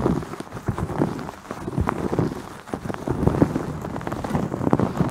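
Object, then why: Terry cloth towel wrapped over a microphone. Long nails scratch the surface of a white terry cloth towel wrapped around a fist-sized microphone head, padded over the solid mic. The result is a dense, muffled run of soft, rapid scratching strokes with a dull, low-heavy tone and no bright top end. It dips briefly quieter midway before picking up again.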